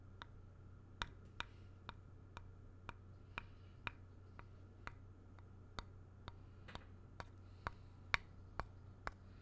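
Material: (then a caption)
Wood. The flat back face of a small, solid, grey-painted wooden block held up near the mic is tapped and traced with the tip of a thin black stylus or pen. About 17 quiet, sharp, dry ticks sound at an uneven pace, each dying almost instantly and bright around 2.3 kHz, over a steady low hum.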